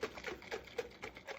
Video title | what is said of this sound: Buttermilk Basics - Part 2 - Making Buttermilk | you can actually hear the heavy whipping cream sloshing around